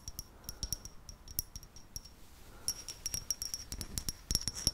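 A small, hollow grey-white matte ceramic vase is held close to the microphone and tapped with long red nails. The taps give quick, bright, clinking, chime-like sounds with a steady high tone and very short ring, scattered irregularly across the clip and growing denser toward the end.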